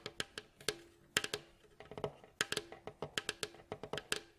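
Fingertips and nails tap and scratch along the staves of a mandolin's hollow, glossy, striped wooden bowl back. The result is a quick run of about seventeen dry, bright, woody knocks with very little ring, some taps leaving a faint low hum under the clicks.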